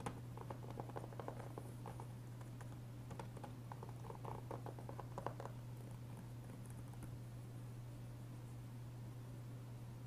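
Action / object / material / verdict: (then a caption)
tap / plastic game disc case / plastic / none. Fingertips and short nails tap and trace across the front of a closed, hollow, blue-tinted plastic Blu-ray PS3 game case for GTA IV, lying flat on a wooden table with a paper cover insert inside. Quiet, light, clicky taps patter through the first half, then give way to softer scratchy tracing, all over a steady low hum.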